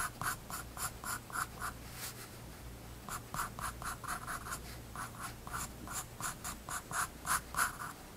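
A graphite pencil scratches short line strokes on a spiral-bound paper sketchbook page resting on a wooden desk. The strokes come as quick, uneven bursts of bright, papery scratching, centered around 1.4 kHz and roughly three to four strokes per second, with a brief pause near the middle. A faint steady low hum sits beneath them.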